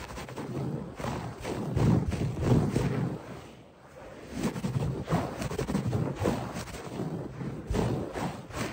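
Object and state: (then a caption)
Synthetic carpet being scratched. Both hands scratch fast and aggressively at a beige-grey textured synthetic fiber carpet on a solid, flat floor, using short fingernails and fingertips. The sound is a dense, low, rustling scrape in quick uneven bursts that swell and fade, with a brief lull in the middle.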